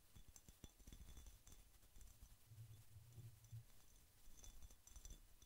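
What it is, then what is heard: Glass jar with metal lid. A medium ribbed, clear glass jar with a metal lid, hollow and apparently empty, is held close to the microphone and tapped on the glass with fingertips and nails. It produces a quick run of soft, dull taps with a low thump and faint bright clicks, each dying away almost at once. The result is a quiet, irregular patter.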